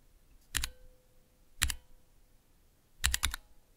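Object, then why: Plastic mechanical key switch tester. Fingertips press keys on a small Cherry MX switch tester with clear plastic keycaps. Three bursts of sharp, bright clicks each carry a low thump, with the last burst a quick flurry of presses. A faint ring lingers briefly after the first burst.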